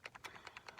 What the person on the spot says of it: hear that ball bearing it just stirs up the um paint a little bit